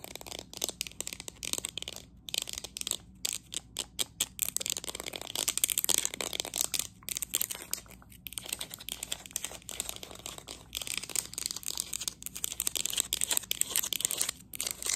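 Long nails rapidly tap and scratch a hollow, green, matte, textured ceramic cup held close up. The result is a dense stream of sharp, bright clicks and scratchy rasps with almost no low end, each tap dying away instantly.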